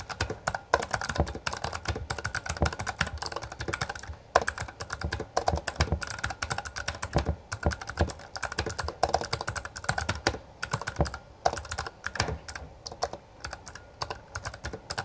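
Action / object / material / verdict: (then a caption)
strike / plastic mechanical keyboard / plastic / none. Both hands type continuously with their fingertips on a full-size black plastic Bloody B820R mechanical gaming keyboard with backlit keycaps and a hollow housing, pressing and striking the keys. The result is a dense stream of fast, clacky keystrokes with a hollow low-end thud and very short decay, plus occasional louder strikes standing out from the steady typing.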